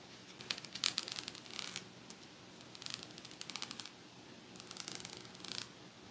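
Long nails scratch along the metal teeth of a pet comb held vertically, possibly also catching its teal plastic spine. Three bursts of rapid, bright, ticking scratches are heard, each a quick run of sharp clicks with almost no low end, separated by quiet pauses.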